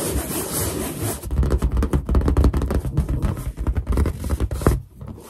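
Long black nails scratch and tap close to the camera on a large, inflated, hollow white latex balloon. A steady rubbing scrape opens the clip, then gives way to a rapid run of deep, booming thumps and scratchy strokes. The sound fades out at the end.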